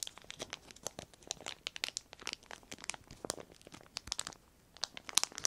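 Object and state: Clear plastic sheet.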